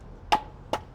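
Two white oak firewood splits for a thousand-gallon smoker's firebox are banged together twice, giving two short, hollow, woody knocks with a clear mid-pitched ring that dies away quickly. The little hollow sound shows the wood is well seasoned and dry and will catch quickly in the firebox.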